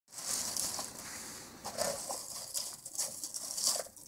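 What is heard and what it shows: Fingertips and the side of a hand press and rummage through a heap of empty, split, dry, hollow peanut shells in a white container. Bright, crisp crunching and rustling runs throughout, with sharper crackles standing out from a steady papery hiss and almost no low end.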